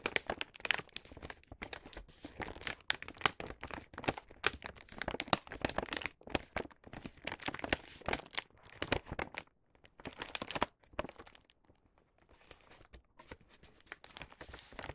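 A filled star-print paper gift bag has its top flap folded down by fingertips, which then press the crease. Dense, bright crinkling and crunching of paper fills the first ten seconds in rapid bursts, then thins out into softer, sparser rustles toward the end.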